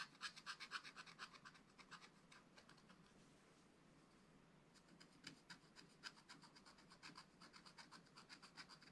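A wooden stylus scratches trees into the black-coated card of a flat, spiral-bound scratch-art pad, making quick, bright, dry scratching strokes. The strokes come fast and dense at first, fade to a soft hiss in the middle, then pick up again in short, irregular bursts.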